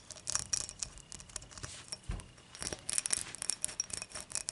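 Long matte nails tap and scratch the base and rim of an empty, clear dimpled glass beer mug tilted on its side. Quick, bright clicks and high glassy ticks mix with brief scratchy swishes, with almost no low end. Each tap dies away almost instantly.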